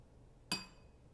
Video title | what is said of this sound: Science At Home Ep. #18 - Singing Glass with Laura Greenwell | Let's take a metal spoon and very gently tap the side of the glass.